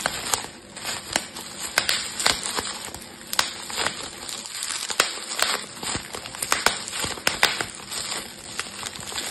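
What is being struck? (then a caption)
Plastic bubble wrap. Fingertips with yellow painted nails pinch and pop the hollow, air-filled bubbles of loose clear plastic bubble wrap bunched over a plastic storage box, in rapid succession. Sharp, bright snapping pops cut through a steady background of crisp plastic crinkling, with almost no low end and each pop dying away instantly.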